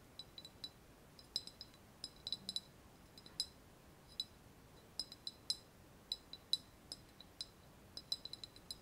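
Long nails tap and scratch a small, hollow, white glazed ceramic vase with a wavy relief surface, held in both hands. An irregular series of quick, bright clicks and clinks sounds, each dying away almost at once, over a quiet, hissy background.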